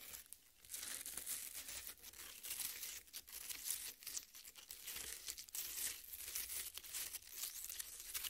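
Long nails scrape and crumble the red flesh of a half watermelon resting on a plate. A steady stream of soft, wet crackling and crunching fills the clip, bright and high with almost no low end. Small bursts rise and fall without pause.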